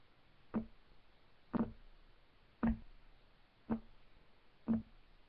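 Fingertips of both hands tap rapidly on a solid, flat, light wood desk top. Five short, dull knocks land about a second apart, each with a brief low woody tone and almost no ring, over a quiet hiss.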